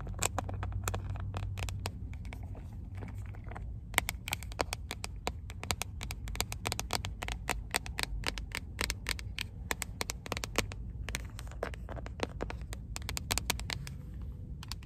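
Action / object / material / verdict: tap / hard plastic first aid kit box / plastic / none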